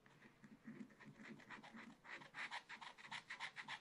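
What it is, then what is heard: Scratch art paper being scratched. A wooden stylus scratches short strokes into a black coated scratch art paper page in a small spiral pad resting on a table, while fingers steady the pad. Quiet, dry, bright scratchy rasps repeat at about three to four per second, with a hiss centred around 2 kHz. The strokes grow louder and crisper in the second half.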